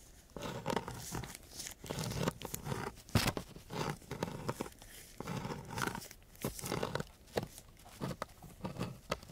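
A thin wooden craft stick is scratched across a coarse, gritty sheet of sandpaper lying flat. Rough, rasping strokes come in quick irregular bursts, each a dry, crackly scrape with a low, hollow body and a bright gritty hiss on top.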